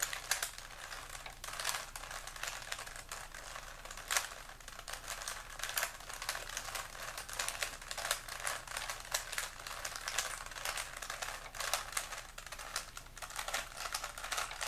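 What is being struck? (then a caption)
Small plastic puzzle cube. A small solid plastic 3x3 Rubik's cube is held in both hands while fingers twist its rotating layers. This produces a steady stream of rapid, bright plastic clicks and clacks with very short decay and little low end. Occasional sharper snaps stand out as the layers turn.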